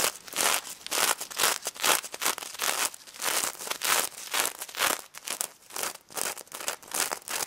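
Long red nails quickly scratch the gold sequin side of a stuffed plush pig toy near its snout, making a stream of bright, crinkly, crackling bursts. The rustling rises and falls in fast, uneven strokes with almost no low end and very little ring after each stroke.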